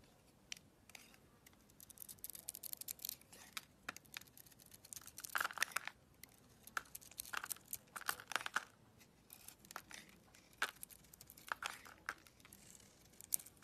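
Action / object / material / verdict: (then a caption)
scrape / bar of soap shaved with a small blade / soap / none. A small gold craft blade shaves and carves curls off the surface of a solid rectangular red bar of soap with a white interior, held in the hand. Quiet, crisp scraping and crumbling strokes come in rapid bright bursts with almost no low end.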